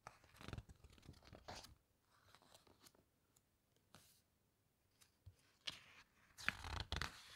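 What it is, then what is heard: Glossy paper book pages being rubbed and turned. Fingertips press and rub the glossy coated pages of an open hardcover book, then turn a page. Soft, irregular crinkling and scratchy rustles come in short bursts, with quiet gaps between them. The page turn ends the clip with louder, bright papery swishes.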